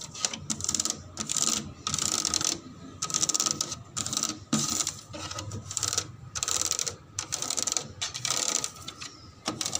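The plastic surface of a slide is rubbed and tapped, giving repeated bright, scratchy bursts with quick, dry taps and almost no low end. A faint steady tone near 1.2 kHz sits underneath the bursts throughout.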